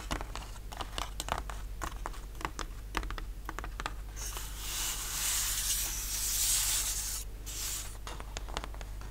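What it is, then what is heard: Laser-cut plywood sheet. Fingertips and short nails tap and scratch across a thin, solid, flat plywood model-kit sheet with laser-cut ship parts, resting on a linen cloth. Quick, dry, irregular taps give way in the middle to a longer, bright, hissing scratch before the tapping returns. A steady low hum runs underneath throughout.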